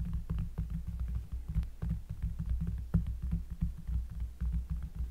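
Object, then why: Cork surface. Fingers tap quickly and steadily on a cork surface, recorded up close. The taps are deep and muffled, with almost all the energy in a low, thudding bass, and each hit dies away almost at once. The result is a rapid, throbbing patter with no bright edge.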